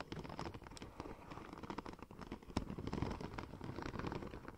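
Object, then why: Embossed vinyl wrap film. Long nails tap and scratch the embossed surface of a curved, hollow silver checker-plate-pattern vinyl wrap sheet. Quick, dense clicks and scrapes run continuously over a soft low rustle, with one sharper tap standing out near the middle.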